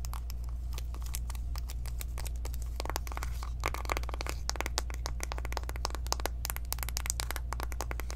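Long acrylic nails tap quickly across the surfaces of a small, flat, hollow pink cardboard eyeshadow palette box held in the hands. The result is a rapid run of dry, sharp clicks and light crinkly ticks that die away instantly, over a steady low hum.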